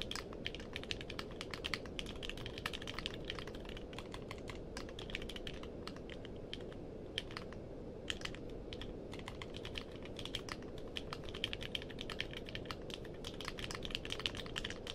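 Fingertips type steadily on a compact mechanical keyboard with a purple case and plastic keycaps, producing a continuous stream of sharp, bright key clicks with very short decay. Brief pauses interrupt the rhythm now and then, and a low, steady rumble sits underneath throughout.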